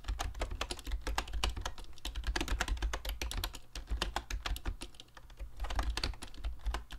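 Fingertips of both hands type quickly on a mint-green YUNZII Actto B303 retro typewriter-style Bluetooth mechanical keyboard with round plastic keycaps and a hollow plastic case. The result is a dense, steady stream of short, sharp plastic clicks and clacks that die away almost instantly, over a low, continuous rumble.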